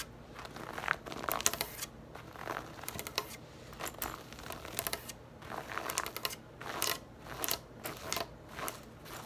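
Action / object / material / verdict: scrape / knit fabric purse / knit fabric / none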